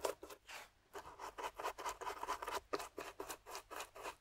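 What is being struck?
Plaster dig block scraped with a metal pick.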